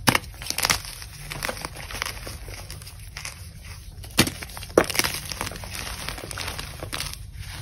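Broken chunks and powder of a gym chalk block (magnesium carbonate), solid and crumbly, sit in a bowl and are squeezed and crushed in the palms and fingers of a hand with long pink nails. Dense, dry, powdery crunching and crumbling crackles run throughout, with a few louder, sharper snaps near the start and around the middle as pieces break apart. A low, steady rumble sits beneath the bright crackle.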